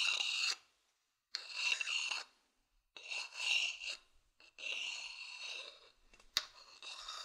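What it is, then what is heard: Wooden bowl scratched. The outer base of a medium hollow wooden bowl is scratched with a thin wooden stick. It gives several bursts of dry, bright, high-pitched scraping separated by short silences, with one sharp tick near the end.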